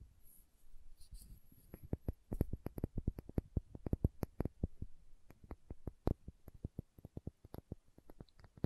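A small, hollow, cylindrical plastic condiment shaker bottle with a red cap and printed label is held in one hand and tapped and scratched with long manicured nails. Soft scratching at the start gives way to dozens of quick, dry, clicky taps that stop instantly. The taps come in an irregular, steady stream at a low level.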